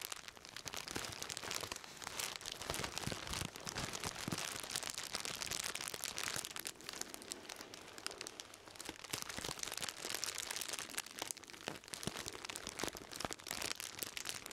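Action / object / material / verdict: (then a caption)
scrape / plastic bag wrapped bundle / plastic / none. A hand-sized bundle wrapped in shiny black plastic bag material and tied with twine is held in both hands and squeezed and crinkled with the fingers. It gives a steady, dense stream of bright, crackly plastic crinkles with sharp little snaps throughout, with almost no low end and no ringing after each snap.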